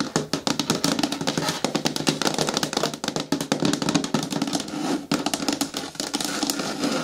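Long nails tap rapidly on the side edges of a hollow, medium-hard green plastic bin with a lid. The result is a dense stream of quick, dry clicks with a faint hollow tone around 280 Hz and bright tips that die away almost at once.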